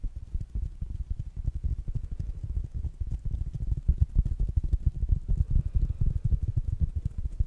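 Fingertips and nails tap quickly on a small, rounded black smart speaker with a fabric mesh cover held in the hands. The result is a steady, irregular stream of soft, dull, low thumps with almost no ring. The tapping grows slightly louder and busier toward the end.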